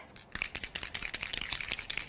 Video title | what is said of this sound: Mixed Media Patterns, Card Making and much more on Hochanda. | you can hear that ball bearing going within there